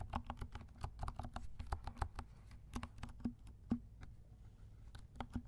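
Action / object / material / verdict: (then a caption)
tap / plastic mechanical keyboard / plastic / none. A compact black mechanical keyboard with silent switches and black and pink plastic keycaps is typed on with the fingertips of both hands. A quick, uneven run of soft, muffled, dry keystroke taps plays, heavy in low tones, each dying away almost instantly. A faint low rumble sits underneath.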